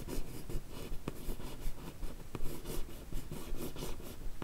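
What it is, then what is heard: Cardboard box lid being scratched. A single long nail traces and scratches across the smooth lid of a closed, hollow, yellow rigid cardboard Look Fantastic beauty box covered in paper. The result is a soft, dry, rhythmic scratching and rubbing, broken by three sharper clicks.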